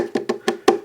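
Four short knocks on a wooden QSC KW122/KW152 speaker cabinet give a dry, wood-block-like tone around 355 Hz that dies away almost at once. The cabinet is solidly built, fairly well braced and glued inside.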